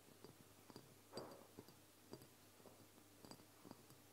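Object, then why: Filled amber glass dropper bottle. A medium amber glass oil bottle, apparently filled and capped with a black plastic dropper, stands upright on a wooden table while fingertips and long nails of both hands tap its sides. Soft, quiet taps and clicks come at irregular intervals, some with a faint glassy ring and a bright edge, over a low background hiss.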